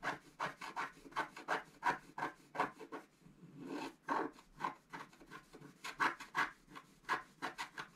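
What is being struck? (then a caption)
Black-coated paper scratch-art card scratched with a wooden stylus. A wooden stylus scratches the black coating of a flat scratch-art card, held down by the left hand, working near the head area. It makes a quick, slightly uneven run of short, dry rasping strokes in the mid range, with a softer continuous rub around the middle of the clip.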